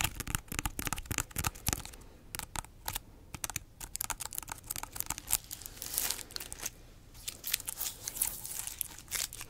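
Long nails scratch and tap the spiky rind of a large, solid whole pineapple. Rapid, dry, crackly clicks and scratchy rasps come in dense bursts with brief quieter gaps, bright and crisp with almost no ring after each tap.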